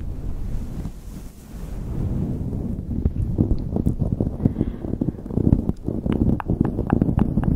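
Long nails scratch and grip a light blue knit beanie pulled over a microphone. The result is a muffled, low rumbling rustle, with a soft, steady hiss at first, followed by a dense run of short, dry scratching clicks.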